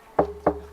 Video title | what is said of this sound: Les gourdes ou calebasses : comment les cultiver, les sécher et les multiplier. | ça résonne bien. Ah ouais, ça sonne carrément.